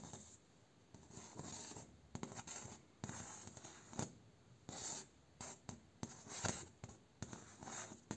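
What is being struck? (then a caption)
Bamboo slat door. Fingers and short nails scratch, trace and tap across the slats of a bamboo slat door, with the hand close to the camera at times. Soft, dry scratching swells come and go, punctuated by brief, bright taps and rustles against a quiet background.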